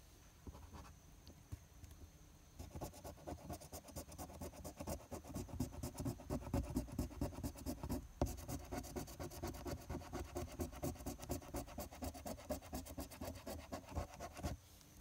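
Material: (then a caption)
Paper. A silver coin held in the fingertips scrapes the latex coating off a flat paper NY Lottery #022 scratch-off ticket lying on a patterned surface, in repeated short strokes. The result is a dense, rapid, gritty scratching with a low, papery rumble, starting faint and sparse before becoming steady and continuous. It breaks off briefly around the middle and stops just before the end.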